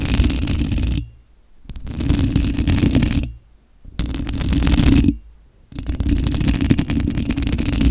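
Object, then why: Perforated metal mesh microphone grille. Long acrylic nails scratch and rub continuously with both hands across the hollow perforated metal mesh head of a bare white condenser microphone. Dense, raspy scraping with a strong low rumble comes in bursts, broken by brief near-silent pauses.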